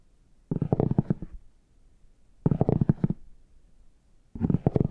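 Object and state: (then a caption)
Faux leather hard shell case. A plastic stick tool with a rounded tip scratches and taps the embossed squares of a brown, chocolate-bar-shaped faux leather hard shell case held upright. It makes three short bursts of quick, dull, low-pitched scratching and tapping, separated by quiet gaps.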